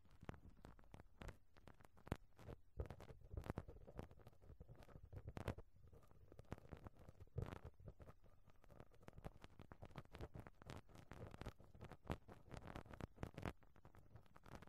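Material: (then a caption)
Metal mesh. A pink rubber-bristle brush is scrubbed over and dabbed on the round metal mesh grille of a microphone capsule. It makes soft, continuous scratchy rustling, broken by frequent sharp taps and thumps, with most of the energy in low, muffled tones.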